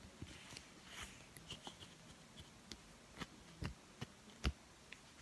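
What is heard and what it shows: A blue, uninflated latex rubber balloon is held and stretched between the hands while fingertips and nails rub and pull at the latex. The result is a quiet, irregular run of about nine short, dry snaps and squeaky rubbing sounds with brief bright tones. The snaps die away almost instantly over a faint low background.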